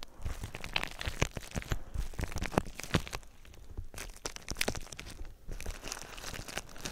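Fingertips scratch and squeeze clear plastic bubble wrap wrapped around a binaural microphone. Dense, close crinkling and crackling are heard, with scattered sharp snaps and a heavy low rumble beneath bright, crisp edges.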